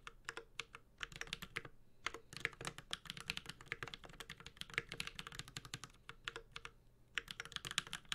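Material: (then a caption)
ABS plastic. Both hands type with their fingertips on a Space65 Cybervoyager 65% mechanical keyboard with Holy Panda switches, a metal case, a carbon fiber plate and ABS keycaps. The result is a steady, continuous run of short, crisp key taps with a bright clacky top and a soft low thud beneath. Each tap dies away almost instantly, with a few brief pauses between bursts.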